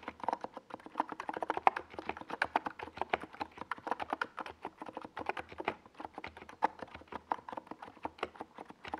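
Fingertips type continuously on a NiZ Plum Atom 68, a small 68-key mechanical keyboard with a white plastic case and purple and yellow plastic Domikey Gas Attack SA keycaps, resting on a desk pad. A steady stream of quick, clacky plastic keystrokes is heard, each a short, dry midrange tap centered near 780 Hz that dies away almost instantly, with little bass and only a faint bright edge.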